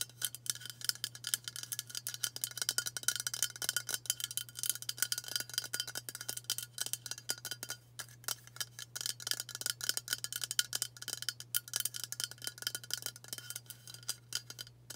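A hollow aluminium White Dove aerosol deodorant spray can, held in both hands, is tapped quickly with long nails. The result is a dense, continuous stream of bright, thin metallic ticks and clinks that die away almost instantly, over a faint steady low hum.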